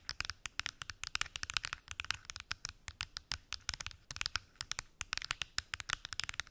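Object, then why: Plastic pill organizer box. Long acrylic nails tap and scratch on the lids of a large, hollow, translucent plastic weekly pill organizer with many small lidded compartments. About 40 quick, dry, bright clicks come in an uneven, rapid stream, centered around 2.5 kHz. Each click dies away almost instantly, with little low end, at a quiet level.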